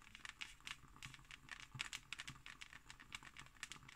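Fingertips and long nails scratch and tap the embossed surface of a closed, thick hardcover book. The result is a quiet, dense run of short, dry, clicky taps over a bright, crinkly scratching texture, with very little low end and no lingering ring.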